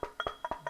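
Seven quick, hollow, woody knocks along the back of a Telecaster electric guitar body with its strings removed, testing whether the pickup picks up the vibration. Each knock is short and dry, centered in the mid range around 1.2 kHz and dying out almost at once. The tone shifts slightly as the knocks move along the back, and the vibration does come through the pickup.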